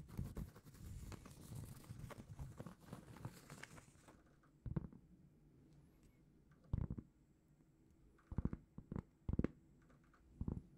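A large, flat, solid round cork trivet is held in both hands and scratched and tapped with long painted fingernails. The first four seconds are dense, continuous low scratching. After that come separate soft taps and short bursts of scratching with quiet gaps in between.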